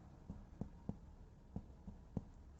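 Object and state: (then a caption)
Tight embroidery fabric. Six quiet, dull taps on embroidery fabric stretched in a hoop give short, low thumps with almost no ring. The sound shows the fabric is fully tight, as it should be before stitching.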